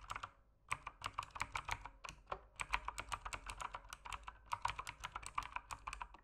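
Fingertips type continuously on a backlit mechanical keyboard with plastic keycaps. Quick, sharp, bright clicks come in a steady run, with a brief pause just after the start. Each keystroke is dry and short.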